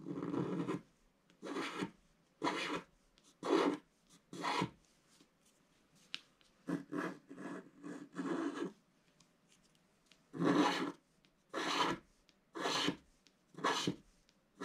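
A wooden stylus scratches the moon area of a black wax-coated scratch art sheet lying flat, making a series of short, dry raspy strokes with brief pauses between them. Each stroke is a bright, broadband scraping hiss that stops cleanly.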